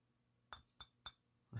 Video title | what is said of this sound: Hornby USA Tour Flying Scotsman Centenary Edition | made out of metal. If you listen, you can hear it.